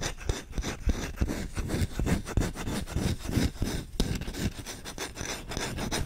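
Fingertips scratch and rub aggressively across the bowl and handle of a solid wooden spoon. The result is a fast, irregular run of dry rasping scrapes, heavy in low, dull body with little high brightness and no ring after each stroke.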